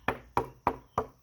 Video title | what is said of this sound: 12 Prone Expo Unedited | Sounds like metal. It doesn't have a dull thud. It's got a metallic twang to it because the board is so stiff and so strong.